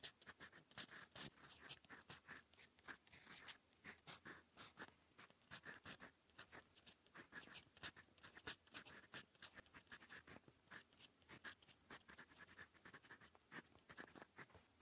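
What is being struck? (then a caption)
Metal fountain pen nib on lined notebook paper. A gold metal fountain pen nib writes in purple ink on a cream lined notebook page. It makes quiet, dense, bright scratching strokes in quick bursts, with very little low end and almost no ring after each stroke.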